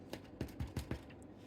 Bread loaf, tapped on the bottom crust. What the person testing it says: tap the bottom. If it sounds hollow, you know it's cooked.